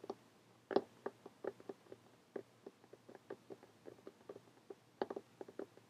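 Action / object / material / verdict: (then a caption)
tap / cloth-covered hardcover notebook / cloth, cardboard / none. Fingernails tap on a closed lime green cloth hardcover notebook lying flat on a table. The result is a quiet series of short, dry, irregularly spaced clicks with a mid-range knock that dies away almost instantly.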